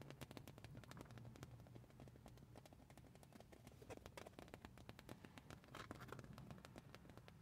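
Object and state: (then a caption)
Printed fabric shirt. Long painted nails scratch and tap across a soft, flexible black printed fabric band shirt with a Slipknot print lying on a car seat. A dense, steady stream of quick crisp scratches and light taps runs throughout over a low, rumbling hum.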